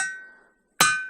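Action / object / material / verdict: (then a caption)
strike / suspended igneous rock / igneous rock / ringing. A suspended igneous rock with an exposed edge and open space underneath is struck once and rings with a bright metallic clang. The tone holds near 1.5 kHz and fades slowly; the fading tail of an earlier ring is heard just before the strike. The rock rings.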